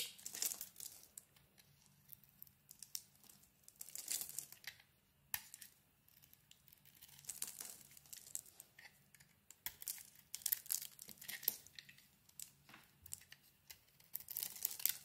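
A utility knife blade scrapes and carves shavings off a hand-sized solid bar of soap with a lilac coating over a white core, held in the palm. The sound is soft and bright, a string of crisp, crinkly scraping strokes that come in bursts separated by short quiet pauses, with almost no low end.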